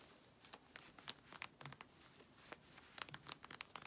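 Long red nails scratch quickly and aggressively at the waistband of worn grey synthetic stretch-fabric leggings. The result is a rapid series of short, dry, bright rasps and crinkly scrapes over a faint hiss, with sharp, quick-decaying strokes and little low end.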